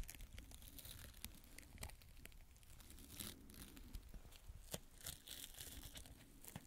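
A small fan paintbrush with a yellow tip and blue handle is brushed and rubbed across the surface of a small square beige fabric adhesive tape pad held in the fingertips. Soft, scratchy crinkling and tearing-like bristle sounds run throughout, broken by sharp, bright ticks over a low, steady rumble.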